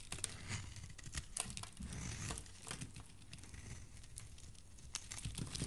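A solid green soap bar, held in fingers with dark nails, has its edge scraped and shaved with a metal blade. A steady, dense stream of dry, crinkly scraping and bright crackling ticks sits over a soft low rumble. It stays quiet and even throughout.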